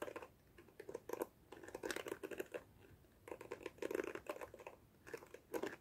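Long fingernails rake and flick the plastic bristles of a black plastic detangling hairbrush held close to the mic. Quick bursts of dry, crinkly ticking come in clusters with short quiet gaps between them, mostly in the midrange with some bright edges.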